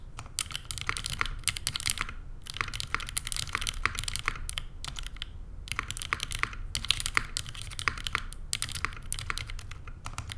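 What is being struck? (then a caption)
Mechanical keyboard with aluminium case and plastic keycaps. A Neo87 mechanical keyboard by CherryB Works, with an aluminum case, plastic keycaps and JWK Lilac switches, is typed on steadily with the fingertips of both hands while resting on a desk mat. Rapid, crisp, bright clacks sound in quick bursts, broken by brief pauses, over a low background rumble.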